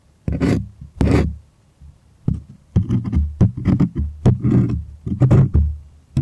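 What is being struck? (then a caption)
Stretched primed cotton canvas. Fingernails scratch and tap the taut surface of a white, stretched, primed cotton artist canvas held close. The result is a run of low, hollow, drum-like thumps, several of them carrying bright, papery scratching bursts, with short gaps of near silence between.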